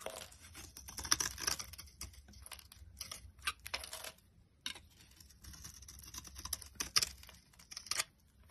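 A box cutter blade repeatedly scrapes and shaves dry flakes off a solid, hand-sized yellow DURU soap bar held in one hand. Bright, crisp, dry scraping and crackling strokes come in a quick run, pause briefly just past the midpoint, then resume. Each stroke ends almost instantly with no ring.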